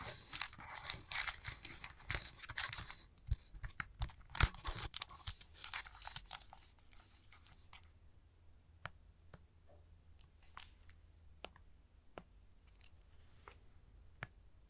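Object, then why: Plastic handheld game console with glass screen. A plastic Nintendo Switch handheld console, with green and red Joy-Con controllers attached and a glass-covered screen, is held in both hands and tapped and scratched with fingertips. For the first seven seconds there is dense, bright scratching mixed with sharp taps. After that, sparse, crisp, isolated taps sound over a quiet background until the end.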